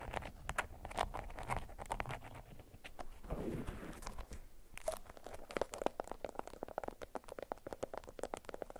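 A yellow bundle of beeswax-coated cotton food wrap is scratched with long nails on a mat, producing a dense run of quick, dry scratching ticks. Midway a softer, low rustling swell rises as the bundle is lifted and squeezed, and then sharp crinkles and crunchy snaps continue to the end.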